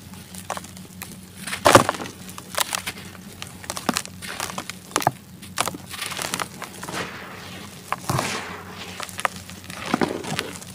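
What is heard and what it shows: Dry, gritty sand-cement clumps are crushed in bare hands over a white plastic basin and rubbed apart into falling powder. Many short crunchy cracks and gritty crumbles follow each other, with brief louder snaps. A faint low hum runs beneath them.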